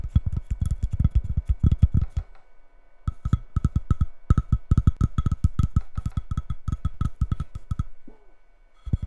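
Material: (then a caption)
Cork. Long red nails tap and scratch the cork back of a square coaster with a white ceramic edge, lying face down on a wooden table. Quick runs of dull, low, dry taps sound with no ring, broken by short pauses. A faint scrape is heard near the end before the tapping resumes.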